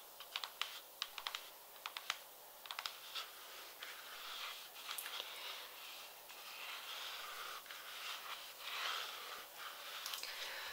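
An empty, light pink glossy patent leather peep-toe pump is held in hand and tapped along its side with long red nails. Quick, sharp, bright clicks come first, then give way to softer, hissy scratching and brushing against the surface.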